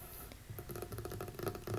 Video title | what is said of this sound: ASMR ✨ Your Favorite Wood Table!! * Tapping & Storytelling ✨ | It's like a little TV tray table type thing, like it folds up and down.